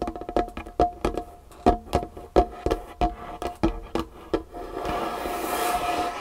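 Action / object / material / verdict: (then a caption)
tap / varnished wooden tabletop / wood / none. Long nails tap quickly on a large, solid, varnished wooden tabletop, making a run of about nineteen short, dry knocks with a faint ringing tone near 710 Hz. In the last second and a half they switch to scratching across the surface, a steady, airy hiss.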